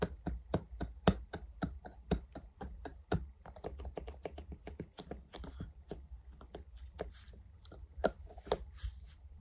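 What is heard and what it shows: A single translucent silicone funnel cup, hollow and empty, is held in one hand and tapped with the fingertips of the other. It gives a rapid, uneven run of soft, dull taps with short muted thuds, each dying away almost at once over a low, steady background hum.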